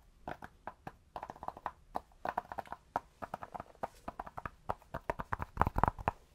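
A cork object is tapped close up with a binaural microphone, giving a steady, uneven run of soft, hollow, clip-clop knocks. Each tap is short and dry, with a woody tone around 1 kHz, and the taps bunch together and grow louder near the end.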